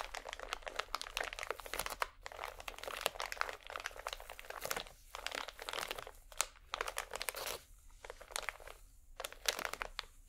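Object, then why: Pack of cotton swabs in thin plastic film. A small, full pack of cotton swabs in thin plastic film is crumpled and squeezed between both hands while nails scratch the wrapper. Dense, bright crinkling and sharp crackles run in bursts, broken by brief quiet gaps near 2, 5 and 8 seconds.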